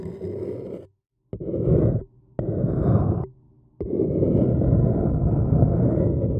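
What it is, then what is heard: Paper cup being scratched. A thin wooden stick scratches around the rim of an empty, hollow, printed white paper cup. Four separate passes of dense, low, hollow scraping start sharply and are split by short silences, and the last pass runs steadily to the end.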